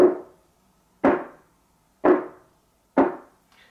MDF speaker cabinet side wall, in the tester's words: extremely Hollow and I can hear it ringing and there's even a small echo in this room